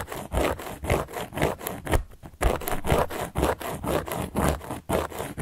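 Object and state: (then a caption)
Cork board being scratched. A carving tool scratches across a large round solid cork board in a steady back-and-forth rhythm of rough, dry scraping strokes. The strokes carry a low, muffled body with little high brightness, and there is a brief quieter pause partway through.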